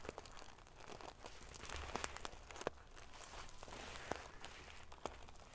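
Long fingernails scratch and ruffle a pillow covered in rows of small silver metal sequins, flipping the metal pieces over. The result is a steady, bright, crinkly rustle broken by sharp little clicks as the sequins snap back, over a faint low hum.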